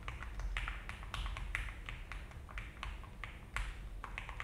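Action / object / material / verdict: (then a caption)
tap / mechanical keyboard with plastic keycaps / plastic / none. Both hands type with their fingertips on an Alice-layout mechanical keyboard with a frosted plastic case and cream and brown ABS keycaps. The result is a steady run of short, crisp clacks with quick decay, carrying midrange brightness over a low background rumble.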